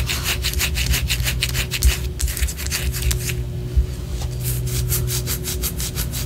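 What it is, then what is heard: Wax pillar candle. Long orange acrylic nails scratch along the side of a large white solid wax pillar candle held in both hands. Quick, rhythmic strokes make bright, dry rasping bursts, which pause briefly just past the middle before resuming, over a steady low hum.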